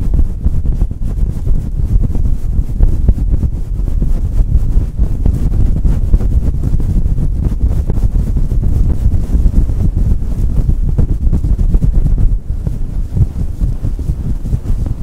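A hand presses on a fluffy synthetic faux-fur microphone windscreen, rubbing and scratching the fur with the fingers. The result is a continuous loud, low, muffled rumble and crackle, almost entirely below 200 Hz, that sounds like wind buffeting a microphone, with a brief dip near the twelve-second mark.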